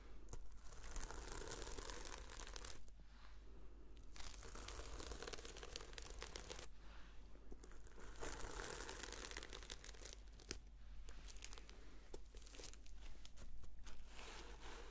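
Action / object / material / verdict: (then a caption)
scrape / sequin-covered notebook / plastic sequins / none. Fingernails brush and flip the sequins on a reversible red and silver sequin-covered notebook, making a continuous dry, crinkly scratching and rustling with bright, sharp clicks. The sound comes in steady passes with a few brief quieter gaps, over a constant low hum.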